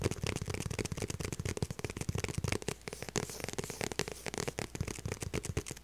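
Long purple nails tap and scratch the back of a small, light blue, structured faux leather handbag held up in the air. The result is a dense, fast stream of dry, crackly ticks and scrapes with a soft, low thud underneath and no ringing after each touch.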